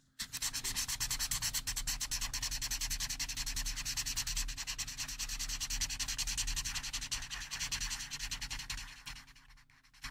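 A dark felt-tip marker is rubbed rapidly back and forth over a printed paper mandala coloring page lying flat on a table to fill in areas. It makes a steady, bright, scratchy rubbing of quick strokes over a faint low hum. The strokes continue for about nine seconds, then soften and fade out.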